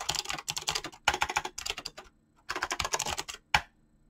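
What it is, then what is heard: Mechanical keyboard with clicky switches and PBT keycaps. Fingertips type fast on a mechanical keyboard with clicky green switches and PBT plastic keycaps, producing rapid, bright, clacky keystrokes in dense bursts. The typing pauses briefly midway, resumes in another quick run, and ends with one sharp, louder keystroke that fades quickly.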